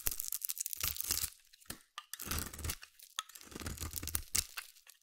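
A hand-held solid orange bar soap is carved and scraped with a metal utility blade, giving crisp, brittle crackling and tearing scrapes full of bright high detail over a soft low rumble. The scraping comes in three longer strokes broken by short ticks and pauses, with no ring after each stroke.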